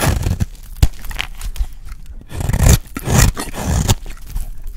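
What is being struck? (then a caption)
Soap bar shaved with a blade. A utility blade shaves long curls from a solid, dry peach soap bar held in the hand. Low, rough scraping comes in swells, with a few sharp clicks as the blade catches. The loudest, fullest shaving passes fall near the middle of the clip.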